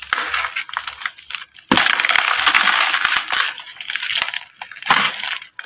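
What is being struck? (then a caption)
Compacted sand chunk. A large, dry, compacted block of sand or dust about fist-to-brick size sits in a red plastic tub while gloved fingertips scrape and crumble its edge, crushing and rubbing the same chunk throughout. A bright, gritty crunching and rustling of loose grains falling runs continuously, swelling louder in dense bursts before easing off.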